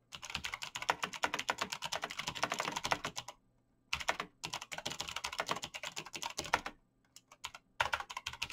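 Fingertips type fast on a black plastic mechanical keyboard with backlit keys, producing dense, bright, sharp clicking with no lingering ring. The rapid key tapping comes in bursts, separated by a short pause after about three seconds and a quieter, sparser stretch near the end before picking up again.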